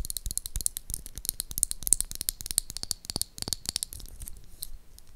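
A small pink hollow plastic toy lipstick tube is tapped with long acrylic nails, making a quick run of dry, bright clicks with a hollow low knock. Near the end, the tube is opened to reveal the pink lipstick inside.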